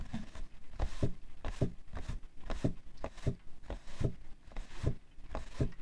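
Fingernails of both hands scratch and tap the side panel of a printed cardboard tissue box, hollow and full of tissues, resting on white fur. Repeated short, dull, low knocks with brief papery scratching between them die away almost at once.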